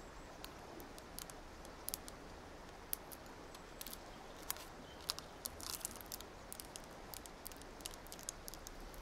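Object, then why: Plastic gear puzzle cube. A small multicolored plastic gear puzzle cube is held in the left hand while its faces are turned and tapped with long nails. Short, sharp, bright clicks and ticks land irregularly over a soft, steady hiss, with a denser cluster of clicks near the middle. Each click dies away almost instantly, and the overall level stays quiet.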